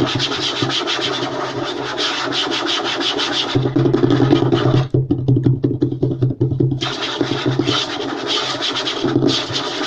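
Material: Wood.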